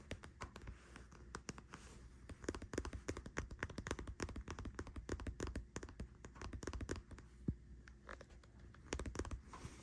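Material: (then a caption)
Soft plastic. Long white-painted nails tap and scratch a full-looking pink Bodycology "Pink Vanilla Wish" squeeze tube of body cream, made of soft plastic and lying on a bed sheet. Quick, dense, dull clicks and light scraping follow one another in uneven bursts. Each tap is soft and low-heavy and dies away almost at once.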